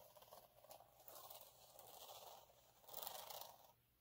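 Fingertips and nails scratch the textured surface of a flat, fine gold glitter sheet lying on a dark cloth. The result is quiet, dry, crackly scratching in a few sustained swells, bright and hissy with little low end, and the loudest burst comes near the end before it fades out.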